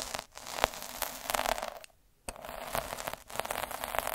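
A metal-needle derma roller is rolled back and forth on a red felt square. It makes a dense, crackly scratching with bright edges and sharp ticks, broken by a short pause of near silence midway and a brief dip later.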